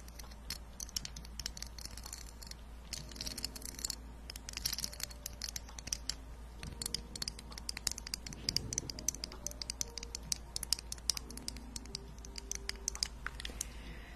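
Long painted nails scratch and tap along the ridged yellow kernel body of a small hollow plastic corn-cob-shaped container with a green husk lid, held in both hands. The result is a quiet, dense run of bright, dry clicks and raspy scratches that stop almost instantly, over a steady low hum.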